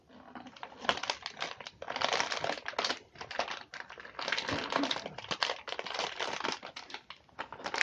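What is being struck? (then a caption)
Plastic clamshell cookie package in crinkly wrap. A full package of cookies in a clear plastic clamshell tray, wrapped in crinkly plastic with a cardboard sleeve, is turned over and squeezed in the hands while fingers rub and crinkle the wrapper. The result is dense, bright, crackling crinkles in uneven bursts that swell and fade, with almost no low end and no ringing.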